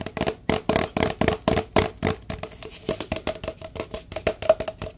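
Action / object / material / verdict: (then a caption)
tap / empty paper drink cup / paper / none. A large, empty, hollow paper drink cup is held upside down and tapped quickly on its side with the fingertips. The result is a rapid, uneven run of dry, hollow knocks with a short papery ring around a mid-pitched tone, with some bright crinkly edges.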